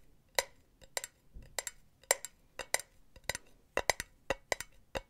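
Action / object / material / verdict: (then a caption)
tap / metal mesh pen holder / metal mesh / none. Long nails tap the wall of a hollow, empty silver metal mesh pen holder held near the mic, making 16 quick, light metallic clicks in irregular pairs and singles. Each tap is bright and tinny, centred around 2 kHz, and stops almost at once with very little ring.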